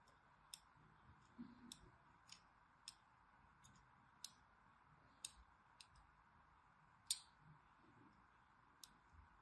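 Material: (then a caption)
Soap. A solid orange striped bar of soap, held in the hand, is scored with a thin needle or blade. About ten short, sharp scratching clicks sound at irregular intervals, crisp and bright with almost no ring. They sit over a quiet, steady background hiss.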